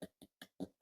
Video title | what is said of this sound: Ninja Air Fryer Irish Soda Bread buns/rolls - Air Fryer Soda Bread | they've got that Hollow sound